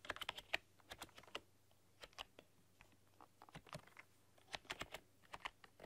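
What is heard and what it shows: Long dark-polished nails and fingertips type on a full-size plastic RGB backlit computer keyboard with black keycaps and a rainbow backlight, pressing and clicking the keys. Quiet, bright, sharp clicks come in irregular bursts with short pauses between them, each dying away almost instantly over a faint low steady hum.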